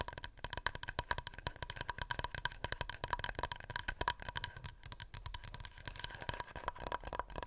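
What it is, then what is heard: Wooden plate tapped with nails. A wooden plate is tapped rapidly with fingernails. The result is a steady stream of quick, dry clicks that die away almost instantly, with a faint hollow ring around 1 to 1.7 kHz and bright edges.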